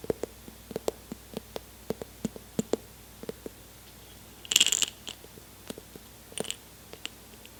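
An airtight jar full of M&M candies, unopened since they were taken from a backstage lounge, is shaken and handled. The candies rattle inside in a string of sharp, quick clicks. A brief louder, brighter burst of rattling comes midway through.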